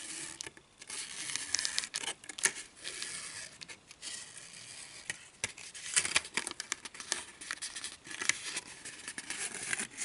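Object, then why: Pleated paper baking cup. Long nails and fingertips scratch and crinkle a small, hollow, empty pleated paper cupcake liner held up close. The result is a quiet, bright, crisp stream of rustling and scratchy crackles with almost no low end. Short, sharp bursts stand out from the steady papery hiss.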